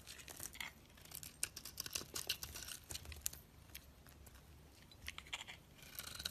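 A dark-coated orange bar of soap, held in the hand, is scraped and shaved with a metal blade, leaving crumbly shavings. The sound is a quiet run of bright, crisp scratching and crackling, in irregular bursts that swell and fade with each stroke.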